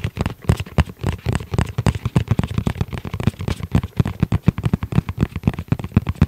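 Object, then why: Fabric-covered EVA foam hard-shell pouch. A flat, hollow, fabric-covered hard-shell EVA zip pouch, dark gray with red trim, is tapped rapidly with the fingertips of both hands. About 40 soft, dull taps come in a quick, uneven rhythm, each a short, low, hollow thud that dies away almost instantly.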